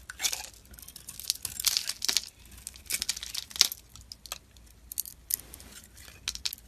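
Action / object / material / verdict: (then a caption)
scrape / solid bar of soap scraped with a metal blade / soap / none. A hand-held solid bar of soap with a pink glitter coating over a white core is scraped and shaved with a metal utility-knife blade, and crumbly flakes come off. The sound is a run of dry, bright, crackling scrapes in short bursts, with quiet gaps between them and almost no low end.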